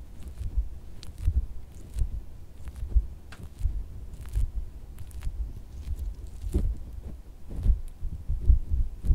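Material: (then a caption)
Silicone. A pink soft silicone squishy dog toy is pressed and tapped with the thumb, fingertips and red-painted nails on a white fabric bed. The result is a run of dull, soft thuds, almost all low in pitch, with faint bright clicks from the nails.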